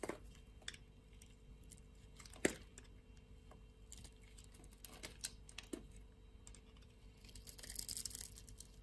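A utility knife blade scrapes a scored grid off a solid blue and white striped soap bar held in the palm, shaving it away as flakes. Soft, dry ticks and scratches sound at a low level, with one sharp crack just before the midpoint. A brighter, denser crinkling scrape builds near the end.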